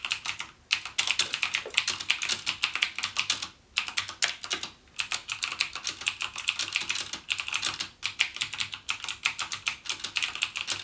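Fingertips type continuously on a backlit mechanical gaming keyboard with plastic keycaps and Cherry MX Blue switches. They produce a rapid stream of sharp, bright clicks that stop almost instantly, centered around 2.6 kHz, with a few brief pauses between bursts.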